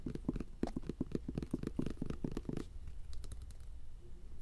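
A bottle of Cornhusker's hand lotion, which is hard to open, is tapped rapidly with fingertips for about two and a half seconds, giving dull, low, hollow knocks around 230 Hz. The tapping then stops, leaving a few faint, sparse clicks and soft rustling.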